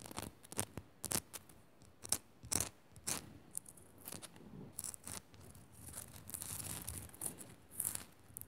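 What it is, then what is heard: Salt lamp crystal scratched. Long nails scratch fast over the rough top of a small, solid pink rock-salt crystal on a pink Himalayan salt lamp. Quiet, bright, dry scraping bursts come in irregular flurries, with sharp rasps rising between softer, steady scratching.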